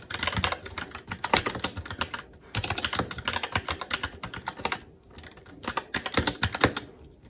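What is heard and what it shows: Both hands' fingertips type continuously on a SteelSeries Apex 7 TKL mechanical keyboard with Red switches, black plastic keycaps on a metal plate and a hollow RGB-backlit case, resting on a desk. Rapid, bright, clacky keystrokes come in dense bursts with brief lulls, each click dying away almost instantly.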